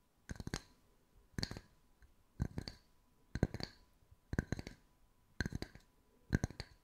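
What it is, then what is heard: Wooden slice coasters. Long white nails tap the flat surfaces of a pair of identical solid round wood slice coasters with bark edges, one held in each hand. Seven quick bursts of short, dry clicking taps come about once a second, each a little cluster of crisp knocks with a low woody thump and a bright tick. A faint steady tone sits underneath.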